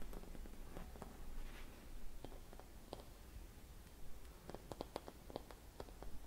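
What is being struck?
Silvered glass Christmas bauble with metal cap.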